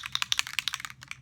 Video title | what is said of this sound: NEW ELF Bite Size Face Duo & Setting Mist-Stay All Night Micro Fine!Also Bite Size Eye & Comparisons | it does have that ball inside that you have to shake it